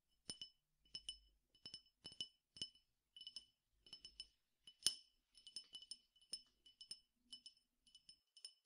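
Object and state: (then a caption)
Glass tumbler partly filled with seeds. A small clear drinking glass, partly filled with seeds or grains, is held in one hand and tapped on its side with the fingertips and nails of the other hand. The result is a quiet run of short, bright glassy clinks in small clusters, pitched high and dying away almost instantly.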